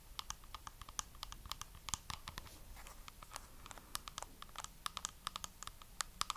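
Long nails tap and scratch quickly across a small, hollow rectangular box covered in white faux pearls and glitter. The result is dozens of crisp, short clicks with a bright, clattery edge and a tone around 1.2 kHz, over a soft, steady scratching texture between the taps.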